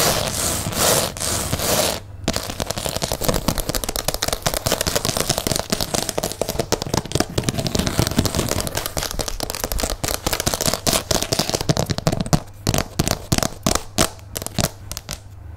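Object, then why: Wood-grain laminate tabletop. Fingertips and long nails of both hands tap and scratch a large solid laminate tabletop with a wood-grain print. A bright, broadband scratching hiss opens the clip, then gives way to a dense run of quick, dry clicks and taps that grow sparser and more separated toward the end.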